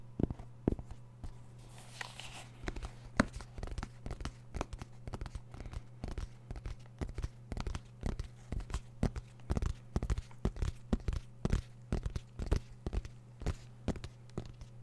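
A small black semi-rigid zipper case with a fabric-covered shell, hollow and closed, is held in both hands and scratched and tapped with fingertips and nails. Quick, dry, hollow-sounding taps and scratches follow one another in an irregular stream, with a brief brighter rustle early on. A steady low hum runs underneath throughout.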